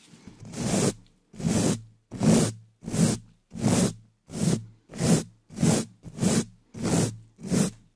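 A gloved hand quickly scratches and brushes the upper left side of a hollow black metal mesh microphone grille with the bristles of a wooden-handled dish brush. About eleven separate, swelling, scratchy swishes come in a steady rhythm of roughly one and a half per second. Each stroke carries a bright bristle hiss over a hollow, boomy low rumble.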